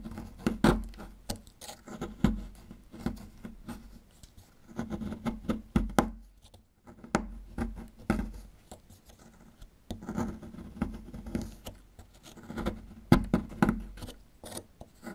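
A small solid plaster fossil excavation block is rotated, chipped and scraped with a small metal chisel tool around its dinosaur relief. Quiet, dry scratching and short, dull tapping clicks come in uneven bursts with brief pauses, sitting mostly in the low-mids with little brightness. Each scrape and chip ends almost instantly with no ring.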